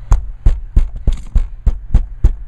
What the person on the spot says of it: it sounds like a tank